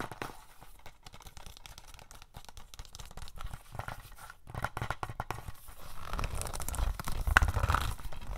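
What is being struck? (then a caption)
Plastic DVD case. A hollow plastic DVD case for The Fog, with stickers on its sleeve, is held up and tapped and scratched with fingernails. Dense, irregular clicks and scratchy crinkles run throughout, growing louder and fuller toward the end, with a couple of brighter tap peaks near the close.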